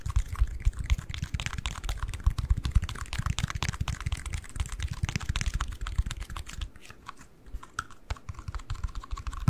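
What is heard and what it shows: Fingertips and nails rapidly tap and scratch a small, closed, hollow pale pink-white cardboard ring box held close to the mic. The result is a dense, uneven patter of soft, hollow low thuds layered with dry, crackly scratching. The sound eases to a quieter stretch near the end before the tapping picks up again.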